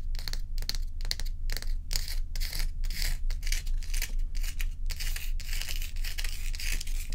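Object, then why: Large ice block. Long acrylic nails on both hands scratch a large, solid ice dome block. Quick, rhythmic strokes make bright, raspy scraping bursts that come and go over a steady low hum.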